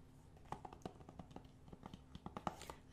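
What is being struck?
Thin plastic game case.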